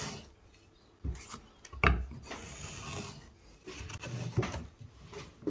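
A hook knife held in the hand scrapes and carves shavings from inside the smooth hemispherical hollow of a square light pine block. Dry, rasping cuts come in uneven bursts, with a few sharper, low thumping strokes standing out against quieter scraping.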